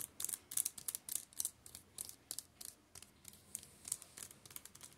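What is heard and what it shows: Fingertips tap and scratch across the plastic-covered spines of a row of shrink-wrapped paperback JoJo's Steel Ball Run manga volumes lying on a table. The result is a quick run of about 27 crisp, dry, crinkly clicks and scrapes, almost all high-pitched and with no ring after each touch.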